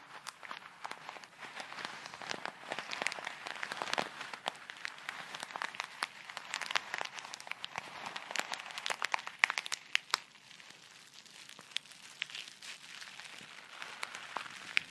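A small clear plastic bag full of tiny colourful foam beads is squeezed and crinkled with fingertips and long red nails close to the microphone. Soft, bright crinkling and crunching rustles continue throughout, dotted with many sharp little clicks and pops. The sound grows a little quieter and sparser toward the end.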